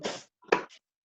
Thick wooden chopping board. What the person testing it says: get sound, but no more the vibration, yeah, because the wood's so thick